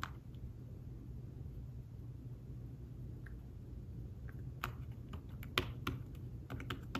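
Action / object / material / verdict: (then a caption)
tap / fabric-covered tablet keyboard case / fabric / none. Fingertips tap the keys of a thin fabric-covered tablet keyboard case in fast typing. Soft, short, dull clicks sit over a steady low hum, sparse at first and then clustering more densely in the second half, with one sharper tap standing out.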